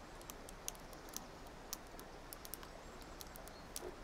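A small, solid, multicolored plastic gear puzzle cube is held in both hands outdoors on a park bench while long nails twist and click its faces. Short, sharp, bright clicks and taps come at irregular intervals over a quiet, steady background hiss and low outdoor rumble.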